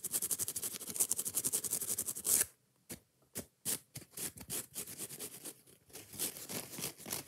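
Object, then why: Foam kitchen sponge with nylon scouring layer. Long painted nails scratch fast and aggressively over a hand-sized yellow foam kitchen sponge with a green nylon scouring layer, working both the foam and the scouring side. A dense run of bright, crackly scratches builds to a louder swipe and then drops into near silence. Sparser, uneven scratching bursts follow.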